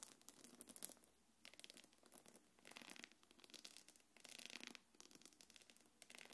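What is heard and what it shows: Long nails scratch across the quilted body of a small, hollow, quilted black leather-look belt bag held in one hand. The result is bursts of bright, crackly scratching that come and go in several separate passes, with short quiet gaps between them.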